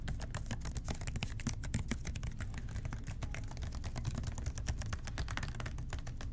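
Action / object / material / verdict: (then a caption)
tap / plastic spray bottle / plastic / none. Fingertips tap and rub the body and white trigger of a blue plastic spray bottle. A steady stream of quick, soft, clicky taps runs throughout, with a dull low-heavy tone and very short ring.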